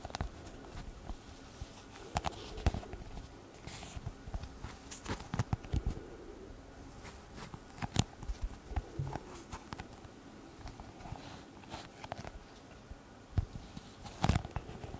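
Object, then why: Leather glasses case. A small, hollow brown leather pouch-style glasses case is held in the hand and tapped and scratched with long red nails. Quiet, muffled, low-weighted taps mix with soft scratchy rustles, with occasional sharper clicks that stand out brightly above the steady hush.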